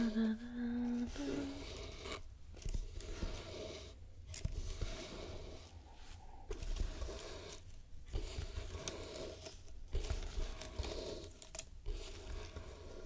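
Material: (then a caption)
Wood. Long painted nails tap and scratch the lid and edges of a small, closed, hollow hexagonal wooden box painted with mint, black and red stripes, with a metal latch and a red ribbon bow on the lid. Quick, dry taps mix with soft scraping over a steady low hum.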